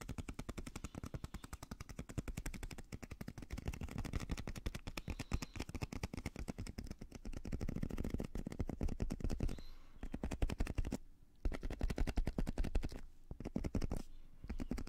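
Fingertips and nails tap rapidly on a small translucent blue squishy stress ball, likely a rubber skin filled with gel beads, held close in front of the mic. The result is a dense, fast run of short, dull, low-heavy taps that blur into a machine-gun-like rattle, with very little brightness. Brief pauses break the run near the end.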